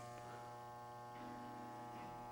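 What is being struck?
Nothing is struck.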